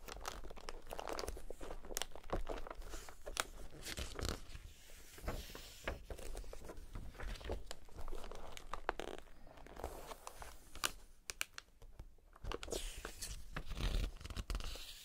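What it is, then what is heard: Glossy paper magazine pages. Fingertips in fingerless gloves rub and turn the thin pages of an open glossy paper magazine with catalog pages of small pictures, lying flat on a table. Plastic air-pillow packaging sits at the edge. Soft papery rustles, crinkles and crisp page-flip snaps come in quick, dense bursts, over a low, steady rumble.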